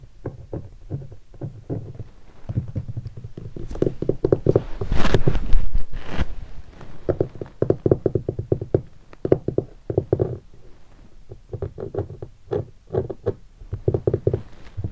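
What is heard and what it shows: Fingertips tap and knock on a hollow guitar hard case covered in black leatherette and stickers. The result is a quick, uneven run of dull, low, hollow thuds with almost no ring. Around the middle there is a louder, denser stretch of brushing and rubbing noise.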